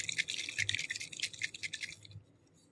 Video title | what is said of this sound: Alcohol ink art | shake this until you hear the ball rattle